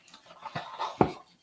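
A packaging insert marked with an up arrow, pulled out of the box while unboxing a Meta Quest Pro headset, clatters with three short knocks. The strongest comes last, and the knocks die out almost at once. The piece sounds hollow and is tossed aside.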